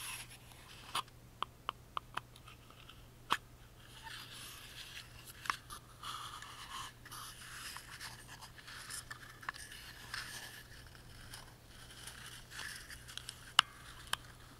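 Fingertips rub the carved lid and engraved front panel of a tiny hollow carved wooden music box held in both hands, making soft, bright scratchy rubbing textures. Short, sharp clicks and ticks stand out above the quiet rubbing, and a faint steady low hum runs underneath throughout.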